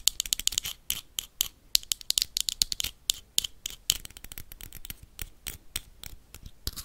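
Metal paperclips rapidly tap and scratch the wall of a small, empty, hollow clear glass jar with a black lid. The result is a fast, irregular stream of sharp, bright clicks and scrapes with almost no ring and very little low end.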